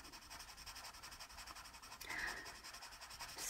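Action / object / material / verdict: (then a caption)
scrape / wooden colored pencil on a paper coloring-book page / paper / none. A green wooden colored pencil held in the fingers rubs and scratches across a paper page of an open paperback coloring book lying flat, with loose colored pencils beside it, while shading a leaf. The sound is a steady, soft, bright papery scratching in quick repeated strokes. About two seconds in, it briefly swells louder with a brighter rasp.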